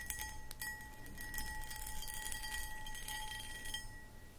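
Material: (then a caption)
Crystal glass. Long acrylic nails scratch and tap the textured cut pattern of a medium, hollow, empty cut crystal glass pedestal bowl. Quick bright clicks and scraping rasps sit over a faint glassy ring with steady tones near 850 Hz and 1.9 kHz, all at a low, even level.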